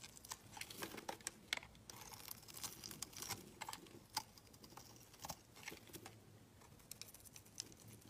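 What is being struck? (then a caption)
Glycerin soap bar. A utility blade scrapes and shaves a solid green translucent glycerin soap bar, with the shavings piling up on a mat. The result is quiet, dense, crisp crackling and scraping made of many short, sharp, bright ticks that die away almost instantly, with little low end.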